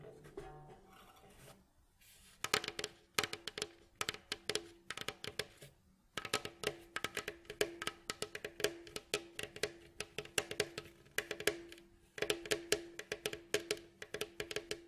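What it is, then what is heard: Wooden mandolin bowl back. The hollow, rounded bowl back of a mandolin, made of glossy striped light and reddish wood staves and lying on a mat, is tapped and scratched with the fingertips and short nails of both hands. Soft scratching opens the clip, then bursts of quick, dry, woody taps follow, each carrying a faint hollow ring near 420 Hz. Brief quiet pauses fall near 2, 6 and 12 seconds.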